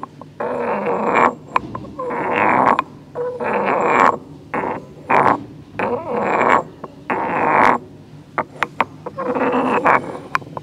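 A solid stone pestle is tilted and ground by hand against the walls of a hollow, grey carved stone mortar. Rough, raspy scraping strokes come in bursts, centred in the midrange with some brightness. Short sharp clicks fall between the strokes.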